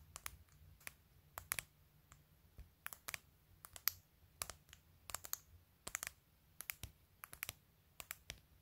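Long fingernails rest on the top edge of a phone in a clear plastic case with glued acrylic press-on nails and tap quickly in a clicky, typing-like rhythm. About 28 sharp, bright plastic clicks land in irregular bursts, each dying away almost instantly over a faint low hum.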